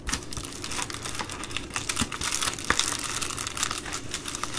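A long nail scratches along the blue perforated band of an empty Amazon Prime poly bubble mailer. It makes a steady, bright, dry crinkling and scratching with rapid clicky ticks, like fast typing. The texture is dense and continuous, with little low end.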